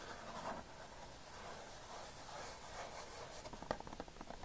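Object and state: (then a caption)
Plastic DVD case. Fingertips and short nails on a hand wearing a ring scratch and tap the glossy cover of a plastic DVD case lying flat. Soft, steady scratching fills most of the clip before quick light taps take over near the end, with one sharper tap standing out.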